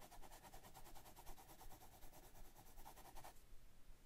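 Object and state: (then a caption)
Pencil shading on sketchbook paper. A hand shades a portrait with a dark colored pencil on a large paper drawing pad lying flat on a desk. Steady, rhythmic rubbing and scratching strokes of the pencil lead on the paper give a soft, bright texture. The strokes stop a little after three seconds, leaving only faint low background noise.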